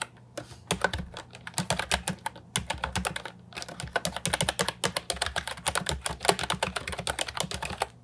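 Fingertips type on an Ajazz 308I, a compact hollow plastic keyboard with round typewriter-style keycaps, producing a rapid stream of sharp, bright clicks that die away almost instantly. Brief pauses break up the bursts of keystrokes, and a faint low hum sits underneath.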